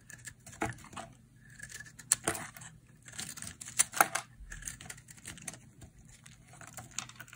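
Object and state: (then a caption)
Dry bar soap being carved. A hand-sized, solid oval bar of dry green soap with a white interior is carved with a metal utility blade. Many quick, dry scraping and cutting strokes give a crisp, bright crackle with short sharp clicks and little low end.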